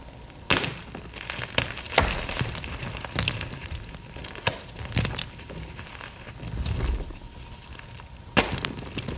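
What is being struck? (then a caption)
Pressed gym chalk block. Both bare hands grip and squeeze solid, brittle pieces of green pasted gym chalk, crushing and crumbling the chunks into powder and flakes. The result is a continuous gritty crackle broken by sharp, bright snaps and crunches, with a faint steady tone underneath.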